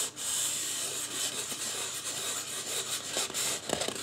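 Fingertips rub and scratch the top and side of a life-size white polystyrene foam mannequin head. A steady, bright, dry scratching hiss fills the clip, with a few sharper scrapes near the end.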